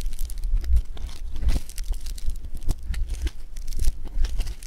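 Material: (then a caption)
Foam beads. Both hands pull apart a solid lump of blue polystyrene-bead foam clay (floam) and squeeze it with the fingertips. Dense, crunchy crackling and tearing sounds come in quick bursts over a steady low rumble, with brief bright ticks throughout.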